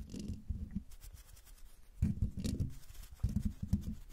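Long dark fingernails of both hands scratch the hollow metal mesh grille of a silver microphone. The result is close, muffled, boomy scratching and rubbing, heavy in the low end, with faint bright rasps. It comes in three louder bursts separated by quieter scraping.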